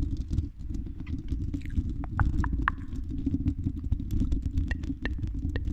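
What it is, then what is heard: Metal microphone grille. Long red nails scratch and tap the hollow silver mesh metal dome grille of a condenser microphone. A dense, continuous low rumbling scrape fills the clip, broken by scattered short, bright ticks and clicks.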